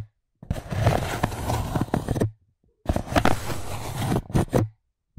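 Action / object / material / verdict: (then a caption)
scrape / styrofoam plate / styrofoam / none. A white styrofoam plate resting on top of the microphone is rubbed and scratched with fingertips and long nails. Two long bursts of dense, rasping, squeaky friction with a heavy low rumble are separated by a short silence.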